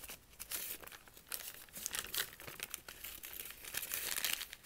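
A single sheet of thin white lined notebook paper, held in both hands, is unfolded and crushed back into a small ball while the fingers squeeze and rub it. The result is a dense, bright crinkling of rapid crackles and rustles, with almost no low end, rising and falling in loudness as the paper is worked.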